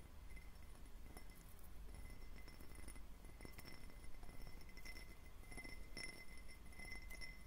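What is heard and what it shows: A clear, hollow, empty faceted glass tumbler with a diamond pattern is tapped and lightly scratched on its facets with fingertips and short nails. The result is a quiet stream of soft clinks and brief bright glassy pings with faint scratchy textures, over a steady low hum.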